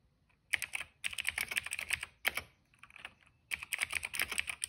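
Fingertips type rapidly on a cream plastic mechanical keyboard with black and purple keycaps and a hollow case. Bright, dry key clacks centred near 2 kHz come in four quick bursts separated by short pauses, with almost no low end and no ring after each stroke.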